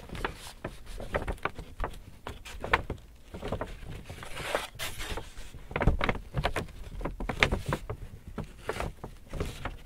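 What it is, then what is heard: Empty paper shopping bag. Fingers scratch and crinkle a large, hollow, empty white Hudson's Bay paper shopping bag held in front of the body. The result is a steady run of dry, crackling rustles and sharp bright crinkles with soft dull thumps underneath, rising and falling in short bursts.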